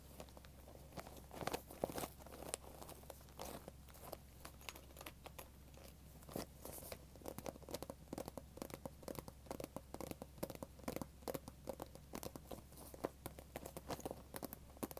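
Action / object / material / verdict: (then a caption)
scrape / glitter vinyl zip pouch / vinyl / none. A small pink sparkly glitter vinyl zip pencil pouch, soft and hollow, is held in both hands and scratched and rubbed with long dark-painted nails. The result is a quiet, steady stream of crinkly scratches, rustles and sharp little clicks over a low constant hum.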